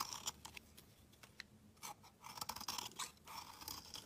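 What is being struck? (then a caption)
Bar of soap scraped with a blade. A steel utility knife blade shaves and scrapes thin curls off the surface of a solid, hand-sized, dark grey-black bar of soap held in one hand. The sound is a quiet run of crisp, bright scraping and crunching strokes at an uneven pace, with a mid-pitched rasp and high hiss over a faint low background.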